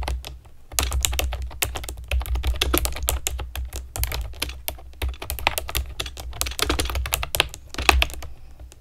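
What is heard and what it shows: Long nails and fingertips type steadily on a pastel plastic keyboard with round keycaps, making a fast run of sharp, bright clicks and clacks. A low, steady hum sits underneath the whole time. Each click dies away almost at once.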